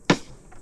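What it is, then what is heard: Solid portable power station case. A single knock on the housing of a Goal Zero Yeti 500 portable power station gives a short, solid thud with a low-mid body that dies away almost at once. The case sounds robust and solid.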